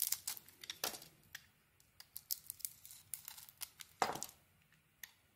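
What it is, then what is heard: Blade carving a soap bar. A metal blade carves and scrapes strips off the purple and pink marbled coating of a solid green painted soap bar held in the hand. A quiet string of short, crisp, bright scraping and crackling strokes is heard, with one louder scrape near the end.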